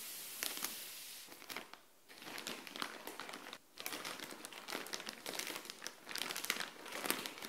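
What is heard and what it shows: Long nails scratch and crinkle a clear plastic bag holding folded grey clothing, resting on a tile floor. Bright, dense crinkling and crackling scratches run throughout, with almost no low end, broken by brief quiet gaps near 2 and 3.7 seconds.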